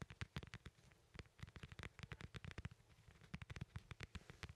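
A small, solid, whole fresh yellow lemon is held in one hand and tapped and scratched with the fingertips of the other. The result is a quiet, rapid series of short, dull low thumps mixed with bright, dry scratching crackles that stop instantly with no ring.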